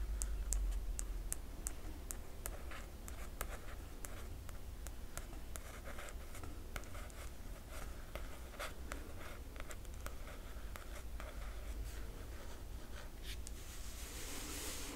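Dozens of light, sharp clicks and dry scratching strokes, each dying away almost at once, with a low steady hum underneath. Nails tapping and tracing across the smooth glossy paper jacket of a hardcover book, which gives a bright, papery tick rather than any ring.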